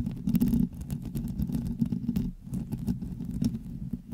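Long glittery nails on both hands scratch and tap all over the hollow woven metal mesh head of a black USB microphone. The result is a dense, muffled stream of quick scratches and taps with a rumbling low-frequency character and almost no high-end sparkle.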